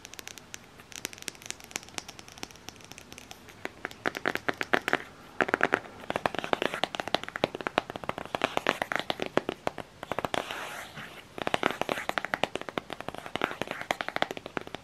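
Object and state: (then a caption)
Cardboard palette case. Fingertips and long nails tap and scratch the ridged, textured back of a flat, hollow black cardboard eyeshadow palette case with a printed Jack Skellington front. Rapid, dense bursts of dry, papery clicks and crackly scratches come in close, sharp transients with almost no ring or low end. The activity swells and pauses in clusters across the clip.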